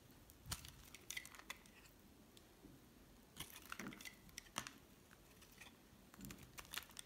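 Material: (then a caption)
Soap. A solid cream bar soap held in the hand is shaved with a metal utility knife blade. Short, dry scraping and scratching cuts come in bright, crackly bursts with quiet pauses between them.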